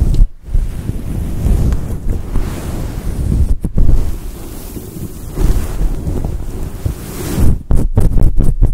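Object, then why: Synthetic fur microphone windscreen. A grey and white fluffy synthetic fur windscreen over a microphone is gripped and rubbed with fingers and long nails. It makes a deep, muffled rumbling and rustling, almost all low end like wind on the mic, with brief silent dropouts as the grip shifts and a quick stuttering run of them near the end.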